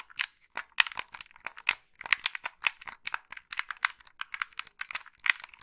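Long pink nails tap and scratch across the buttons and hollow shell of a black plastic Xbox-style gamepad. The result is a rapid, irregular run of dry, bright plastic clicks with light scratchy scraping, no low end, and no ring after each tap.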